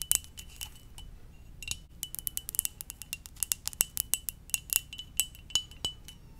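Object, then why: Ceramic mug. A hollow, empty red-and-white ceramic mug shaped like a Pokeball is held close to the mic and tapped with long dark-painted nails. The result is a quick, irregular run of bright, sharp clicks that die away almost instantly, with a faint glassy ring underneath.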